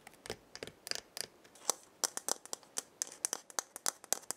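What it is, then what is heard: Dried gourd maraca. A hollow dried gourd maraca with filling inside is held by its wooden handle and shaken, then moved partly out of frame. It gives a quick series of short, dry, bright rattles and scratchy ticks with no lingering ring, and almost nothing in the low end.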